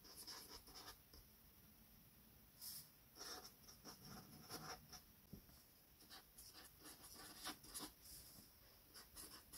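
A felt-tip metallic gold marker, held in the fingertips, glides and rubs across a flat sheet of white paper on a table while writing names. The sound is quiet, with short, bright, scratchy strokes in uneven bursts separated by brief pauses. A faint steady hiss sits underneath.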